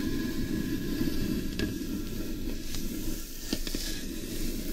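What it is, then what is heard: Carved wooden bowl being scratched. Long nails scratch and fingertips rub across the outer surface of a large, hollow carved wooden bowl turned upside down. The result is a steady, low, hollow rasping texture, broken by a few brief, sharper clicks.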